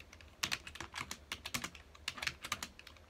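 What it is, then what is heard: Plastic computer keyboard. Fingertips of both hands type on a full-size black plastic computer keyboard with hollow key housings, resting on a dark desk. About twenty quick, dry, bright key clicks come in an uneven run, each dying away almost at once, with very little low end. The result is a quiet, crisp patter of plastic keystrokes.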